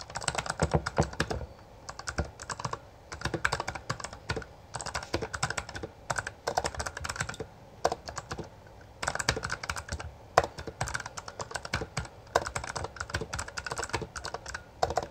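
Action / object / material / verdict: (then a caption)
tap / plastic mechanical keyboard / plastic / none. Both hands type continuously with their fingertips on a full-size black plastic Bloody B820R mechanical gaming keyboard, which has backlit keycaps and a hollow housing. Bursts of rapid, sharp clacks come in runs separated by brief pauses. Each keystroke has a bright click over a hollow, low thud that dies away almost instantly.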